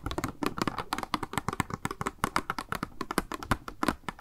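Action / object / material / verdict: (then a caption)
tap / small hollow plastic package with a sponge inside / plastic / none. Long nails rapidly tap a small, hollow, clear pink plastic blister package with a makeup sponge inside, held in both hands. The taps are quick, dry and hollow, each a short click with a low body that dies away almost at once, in an uneven rhythm like fast typing.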